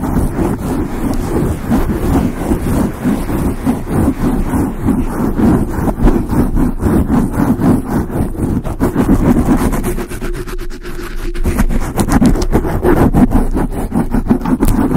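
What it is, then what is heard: Foam microphone windscreen being scratched. A large dark grey foam windscreen on a microphone is scratched with the long acrylic nails of both hands. The result is a steady, dense, muffled rustling and thumping, heavy in the low end and concentrated around 200–300 Hz, with a brief softer dip near the ten-second mark before the scratching picks back up.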